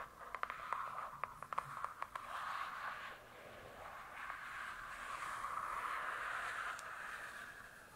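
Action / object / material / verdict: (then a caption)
scrape / hardcover book with cardboard cover / cardboard / none. Long nails tap the glossy cardboard cover of a large closed hardcover book eleven times in quick, uneven succession over the first two seconds. They then scratch across it in a steady, hissing scrape centered around 1 kHz that swells and fades until the end.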